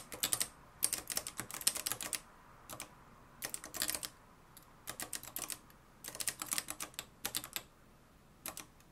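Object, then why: Plastic and metal manual typewriter. Fingertips type on the dark plastic keys of a mustard-yellow, plastic-cased manual typewriter with a metal mechanism. Bursts of rapid, sharp, bright clacks come in quick runs separated by brief pauses. Each strike is dry and short, with little low-end weight.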